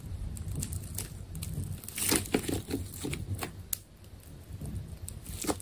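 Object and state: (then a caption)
Tape ball being cut. A utility knife carves through the layers of a solid, partly cut ball of purple adhesive tape. The clip is steady crinkling and tearing with crackly scraping over a low rumble, broken by a few sharper bright snaps as the blade pulls through.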